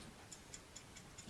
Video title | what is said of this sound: Glock Safety Checks - Glock Build Safety | the rattle means that it's clean and it's clear and it's free from obstructions